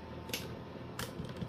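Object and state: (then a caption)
Hollow-sounding baked bread loaf. Knuckle taps on the underside of a freshly baked homemade bread loaf in a knock test, giving four short, dull, hollow knocks with a brief bright click at each strike over a low steady background hum. The loaf sounds hollow, meaning it is baked through.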